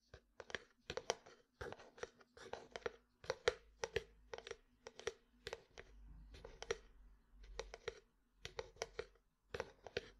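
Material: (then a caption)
Plastic. Fingertips and nails tap a medium frosted plastic jar with white contents and a lid. Quick, dry, hollow clicks come in irregular bursts over a quiet background, each snapping off almost at once. The taps carry a mid-toned knock with a bright, crisp edge.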